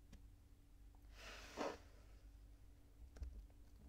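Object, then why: Kinetic sand. Bare fingertips grab, squeeze and crumble clumps from a loose pile of purple kinetic sand on a white table, and the clumps drop back onto the pile in a patter. A soft, bright, grainy rustle swells for about half a second and peaks in the middle of the clip, followed later by a few faint ticks over a quiet, steady low hum.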